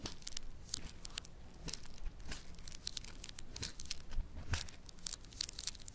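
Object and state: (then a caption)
Foam bead clay crackling. A solid lump of yellow foam bead clay (floam) is pressed and pinched with fingertips on a marble surface. It makes quick, dry crackling and popping bead sounds, with bright, sharp snaps over a soft low rumble. The snaps come in irregular bursts throughout.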